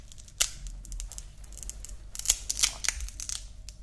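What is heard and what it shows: A grey woven nylon watch band is folded between the fingers while its hook-and-loop part is pressed and ripped close to the mic. Bright, crackly rasps come in irregular bursts, with the sharpest rips near the start and a cluster of louder tears later on, over a faint low rumble.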